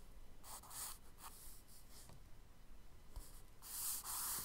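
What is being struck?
Kraft paper sketchbook page rubbed with charcoal.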